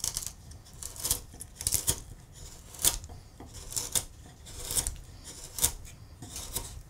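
A steel gouge is pushed by hand through a large solid wood relief carving with acanthus scrolls, paring and scraping the wood. Bright, crisp scraping strokes come in irregular bursts over a soft, low rustle, and each cut ends quickly with almost no ring.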